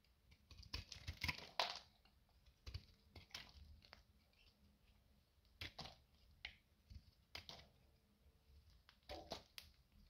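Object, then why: Bar soap cut with a metal knife. A metal utility knife slices crisp strips off the side of a solid, dry beige bar of soap that has been thinned by carving and is held in the fingers. Irregular, quiet, dry crackling and scraping cuts come in short bursts with bright edges. A faint low hum runs underneath.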